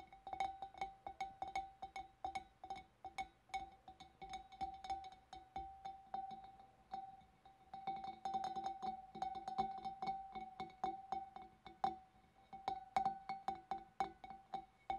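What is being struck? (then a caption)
Glass fish bowl. Long black nails tap rapidly and steadily on the wavy rim and shoulders of a large, hollow, empty clear glass fish bowl. Each quick, bright click brings out a steady ringing tone near 780 Hz that fades almost at once, with the taps running on without a break.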